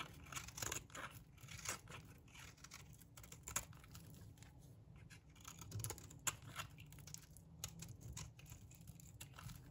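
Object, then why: Bar of soap scraped with a metal blade. A light green bar of dry soap held in the palm is scraped and cut with a metal blade that shaves off curls. Quiet, dry, crisp scraping strokes come in a steady run of short bright crackles over a low background hum.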